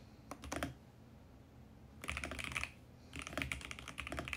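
Both hands type rapidly with their fingertips on a compact VGN X68 mechanical keyboard with plastic keycaps. It makes bright, clicky clacks in three quick bursts, separated by quiet pauses.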